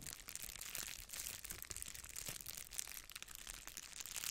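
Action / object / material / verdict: scrape / plastic bubble-wrap padded mailer envelope / plastic / none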